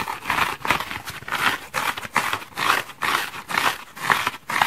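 A multicolored patchwork foam bath sponge of solid porous foam is held in one hand and scratched hard with fingernails. Repeated rough, crinkly scraping bursts come at an uneven pace of roughly two per second, concentrated in the mids and bright highs with almost no low end. The surface is visibly gouged, leaving small foam crumbs on the wooden table below.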